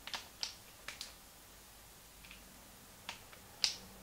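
Fingertips repeatedly click the plastic buttons of a small, hollow, translucent pink plastic Game Boy Advance held in both hands. The clicks are sharp, dry, and bright, each fading almost instantly, and they come at irregular intervals over a quiet background. The last click, near the end, is the loudest.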